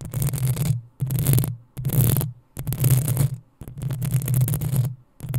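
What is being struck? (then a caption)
Metal mesh microphone grille. Long acrylic nails scratch and scrape the metal mesh grille of a black desktop USB condenser microphone. Repeated scraping passes, separated by brief pauses, produce a harsh, bright rasp over a heavy low, humming rumble.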